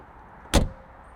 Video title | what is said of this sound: 스포츠카를 위한 사륜구동을 선보인 30년 전 포르쉐 911 | 이 철컹 하면서 닫혔던 아주 든든한 장갑차의 문 같은 이 소리는